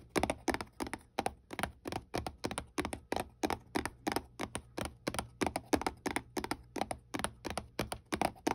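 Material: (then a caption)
Paperboard. Long painted nails tap and scratch a small, hollow white paperboard product box held in the hand. About 37 quick, dry, crackly taps come in an uneven rhythm, each dying away almost at once with no ring.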